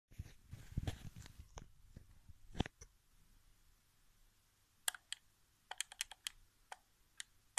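Fingertips tap and press the face buttons of a hollow white plastic PS4 game controller lying on carpet. For the first few seconds, soft, muffled low thumps and rustling mix with light clicks. Then, after a near-silent stretch, come sharp, bright, separate button clicks that die away almost instantly.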